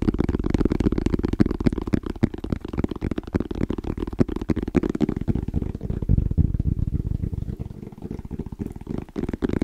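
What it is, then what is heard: Hard-shell EVA case. Fingertips tap quickly and rhythmically on a small, rigid, hollow black molded EVA hard-shell case with orange zipper trim, held in both hands. The taps are dull, muffled thuds, dense and fairly uneven, with their weight in the low end and almost no bright edge, each dying away almost at once.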